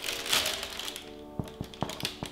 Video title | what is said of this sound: Zopf (Swiss Braided Bread) | a hollow sound when you tap the bottom that's how you know you did it right